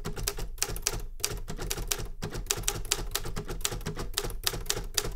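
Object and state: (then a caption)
Metal manual typewriter. A Remington Super Riter metal manual typewriter is typed on continuously with the fingertips. Rapid, sharp key strikes produce bright metallic clacks over a low, thumping mechanical rumble, each strike dying away almost instantly. The typing keeps a steady, busy rhythm throughout.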